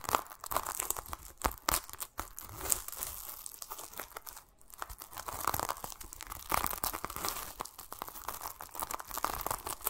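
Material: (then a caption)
Plastic mesh. Fingertips and short nails scratch and rub over a large, solid whole pomelo wrapped in a yellow-green plastic mesh net and held in both hands, working across both the net and the peel. The result is a dense, crinkly scratching and crackling with many brief, sharp, bright snaps over a soft rustle. There is a short quiet pause near the middle before the scratching picks up again.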